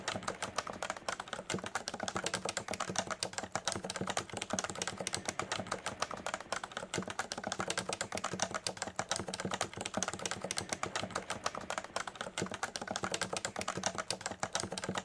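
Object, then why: Plastic capacitive keyboard. Fingertips of both hands type steadily on a Leopold FC980C full-size electrostatic capacitive keyboard with a solid body and beige and grey plastic keycaps, resting on a desk mat. The result is a dense, continuous run of short, crisp plastic clacks with little low end, centred around 1.1 kHz with a bright top.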